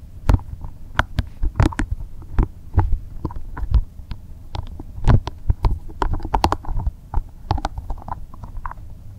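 A small, translucent green soft rubber spiky massage ball is held in both hands while fingers squeeze, rub and scratch its spikes. This produces a stream of soft, close, muffled taps and rubbing sounds, mostly deep and thumping. Brief brighter scratches break through, and each sound dies away quickly.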